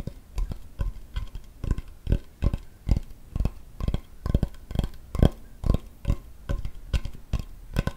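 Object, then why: Wooden cutting board. A large, flat, solid wooden cutting board held close to the microphone is tapped rapidly with fingertips and nails on its flat surface. The result is a quick, uneven run of short, dull, low knocks with almost no ring, each carrying a faint bright click from the nails.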